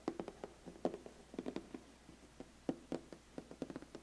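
Fingertips and nails tap rapidly on the lid of a large, flat, black glossy cardboard biscuit gift box that is closed. Around sixteen quiet, dull, hollow taps land in uneven bursts, each with a low-mid thud and a brief bright click that dies away almost at once.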